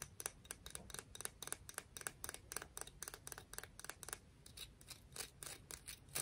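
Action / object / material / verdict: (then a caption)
tap / conch shell / shell / none. A conch shell is tapped and scratched, giving a quick, steady series of short, bright clicks with a faint scraping rasp between them. Each tap dies away almost instantly.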